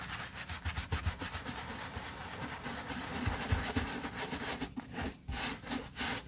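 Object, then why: Leather boot scrubbed with a soft bristle brush. A soft bristle brush with a wooden handle, held in a gloved hand, scrubs the soap-foamed leather upper of a hollow black leather Chelsea boot lying on its side. Wet, rapid back-and-forth brushing strokes give a steady bright rubbing hiss with a low hollow undertone from the boot.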